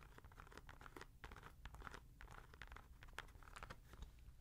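Long nails scratch along the side and white foam Boost midsole of a hollow, empty grey Adidas NMD R1 sneaker with a knit/mesh upper, held in hand. The result is a quiet, steady stream of dry, crackly scratching with quick rasping strokes over a low rumble.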